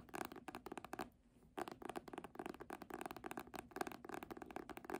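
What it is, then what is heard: Hardcover book with embossed faux-leather cover. Long manicured nails and fingertips tap and scratch the red embossed faux-leather front cover of a medium hardcover copy of "A Little Princess," held upright and solid with pages. Quick, dry clicking taps come in rapid clusters with a short quiet pause about a second in. Each tap is sharp and crisp with almost no ring, centered in the mids with a bright edge.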